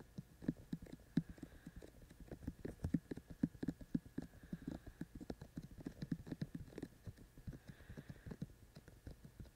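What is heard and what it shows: Fingertips tap continuously on the hollow white silicone ears of a binaural microphone, producing soft, dull, heartbeat-like thumps. The taps fall in a quick, irregular stream with very short decay, their energy concentrated in the low range, around 170 Hz, with almost nothing bright above.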